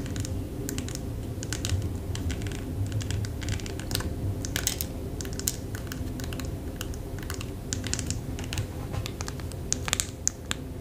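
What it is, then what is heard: Plastic press-on nail package. A press-on nail package, a clear plastic tray on a blue card held in the hand, is tapped rapidly with long fake nails. The result is a steady stream of quick, bright plastic clicks, like keyboard typing, over a constant low rumble, with each tap dying away almost instantly.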